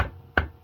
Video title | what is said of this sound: Import face off, VR6 R36 cylinder head upgrades for new cams | as soon as you hear that metal thump right there, you know you made contact and your valve seal is totally bottomed out